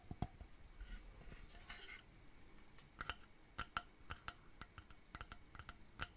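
A hollow, medium rectangular wooden shadow box frame with a dark back panel is held upright and tapped with fingertips and nails. The result is a series of quick, dry clicking taps with a faint hollow ring near 1.4 kHz that dies away almost at once. Soft, bright rustling fills the gaps early on.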